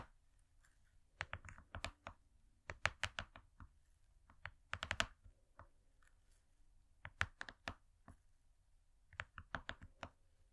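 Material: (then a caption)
Cardboard. Long fingernails rapidly tap a thin, flat, gold-laminated cardboard cake board. The taps come in five quick bursts of short, dry, bright clicks that die away at once, like keyboard typing. Quiet pauses fall between the bursts.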